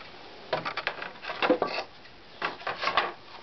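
A wooden violin top plate is tapped for comparison in two quick bursts of light taps, each giving a short, dry knock with a tone near 500 Hz that dies away almost at once. This plate is judged good, meaning it is tuned correctly.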